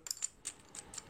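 Plastic game tokens are dropped and clinked together, giving five quick, bright, clicky taps that die away almost instantly. The tokens sound very hollow.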